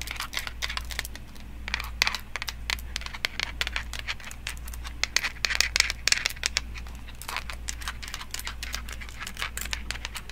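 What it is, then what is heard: Small wooden toy block. A small, solid, round unfinished pine toy block is held in one hand and tapped and scratched by long nails wearing metal nail jewelry and rings. Rapid, dry, bright clicks and crisp scratching sounds cut off almost instantly, over a steady low hum.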